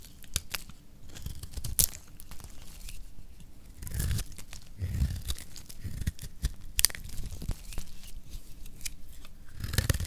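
A metal blade scrapes and shaves a solid pink rectangular bar of dry lacquered soap. Dry, crisp scraping and crunching run throughout, broken by sharp bright snaps and soft low thuds as the blade bites in. Flakes of soap are shaved away from the bar.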